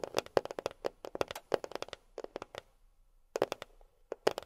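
A box is tapped with long fingernails in quick clusters of about 25 sharp, dry clicks. The taps carry a steady midrange tone and bright tops with almost no ring. A short pause falls near the middle before the tapping resumes.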